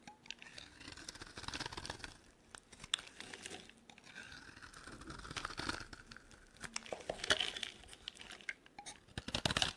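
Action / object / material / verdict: scrape / bar of soap scraped with a metal blade / soap / none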